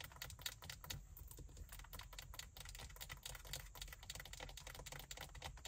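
Long white acrylic nails rapidly scratch and tap along the side and top edge of a large, black, padded leather (likely faux leather) car seat backrest. The result is a dense stream of quick, dry, clicky taps and scratchy strokes with bright highs, very short decay, and a soft low rumble underneath.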